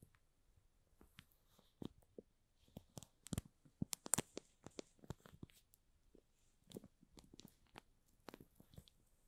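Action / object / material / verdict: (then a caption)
scrape / cardboard box in plastic shrink wrap / plastic film / none. Short fingernails scratch the plastic shrink wrap along the top edge of a small, hollow cardboard DESAL Lite product box. Quiet, dry crinkling ticks come out as many brief, bright clicks and scrapes with no ring, clustering more densely in the middle of the clip before easing off.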